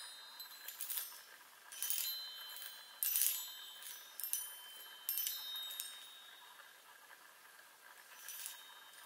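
A handheld chime instrument about 25 cm long, with a row of hollow silver metal tubes mounted on a light wooden frame, is held in one hand while the other taps and strikes the tubes with long pointed nails. A large ring on a finger may sometimes touch the tubes. Seven bright, high-pitched ringing chime strikes sound at irregular intervals, each decaying quickly over a faint background.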